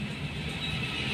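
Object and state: Nothing is struck.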